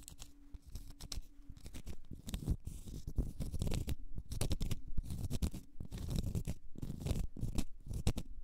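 Long nails scratch and tap on a large solid cork stopper, making a dense, dry, continuous run of low, muffled scraping and soft knocking. Brief bright clicks flicker over the rumbly texture, and each tap dies away almost instantly.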